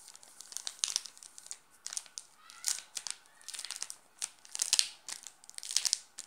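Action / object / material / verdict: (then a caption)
scrape / plastic film wrapper on a chocolate bar / plastic film / none. A wrapped Nestlé chocolate bar in a red plastic film wrapper lies on a pink cloth while fingertips scratch and rub the wrapper surface. The result is irregular bursts of bright, high crinkling with sharp crackles and faint scratchy hiss in between.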